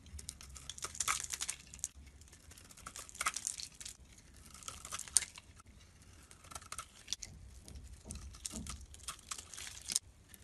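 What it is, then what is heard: Soap bar being carved. A blade carves a solid, Absolut-branded soap bar with a purple surface over a blue inside into flakes. The cutting makes soft, crisp, crinkly scraping and crunching in bursts, with bright hiss across the upper range and a low hum beneath.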